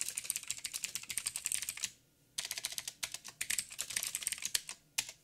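Fingertips type on a backlit mechanical keyboard with plastic keycaps and blue clicky switches. Rapid, bright clicks in quick bursts are broken by a short pause near the two-second mark, with each keystroke sharp and dry and almost no low end.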